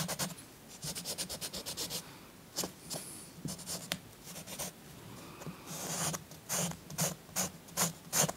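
A green chalk stick is scratched rapidly over the tree area of a paper coloring book page resting on a soft cloth. Irregular bursts of dry, bright, scratchy strokes follow one another quickly, some clusters dense and fast, others louder and more spaced, with only a faint low hum between them.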